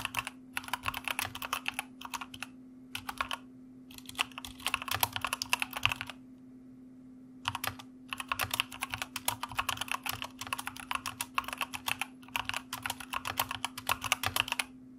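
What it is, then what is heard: Plastic mechanical keyboard. Fingertips of both hands type rapidly on a white mechanical computer keyboard with plastic keycaps and red backlight. The result is a dense stream of bright, sharp clicks in bursts, with a pause of about a second and a half midway. A faint steady low hum runs underneath throughout.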